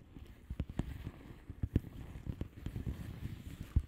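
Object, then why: Padded envelope with plastic bubble wrap surface. Long polished nails of both hands tap and scratch the plastic bubble wrap surface of a flat padded envelope. Short, dull taps with almost no ring sit over a soft, low scratching rustle. Several louder taps stand out above the steady scratching.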